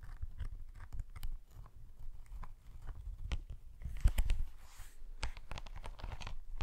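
Slow fingernail scratches drag along the textured surface of a padded, iridescent faux snakeskin laptop sleeve, which is held lower and tilted, possibly with a creak or some zipper handling. The scratching comes as a run of short, dry, crunchy bursts, heavy in the low end with thin bright streaks, and a louder cluster of scrapes lands near the middle.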